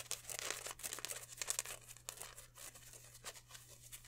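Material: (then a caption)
Polyester. A green polyester mesh football jersey with white number patches is held up in both hands and crinkled, stretched and rubbed. Quiet, bright, scratchy crinkling and rustling bursts come close together, fading slightly toward the end, over a faint steady low hum.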